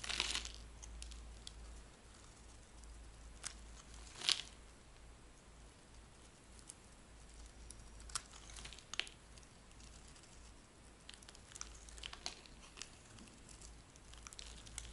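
A green-and-white bar of dry soap held in the hand is shaved with a metal blade, cutting off curls. Quiet, bright scraping and crisp crinkling ticks come in short bursts, with a few louder cuts standing out over a steady low hum.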